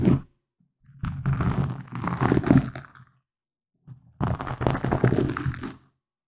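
Fingernails and fingertips of both hands scratch a soft, hollow black foam windscreen on a microphone. Dense, crackly rubbing and scraping comes in two long bursts, each preceded by a brief scratch. The sound is muffled and heavy in the low end, with bright crackle on top.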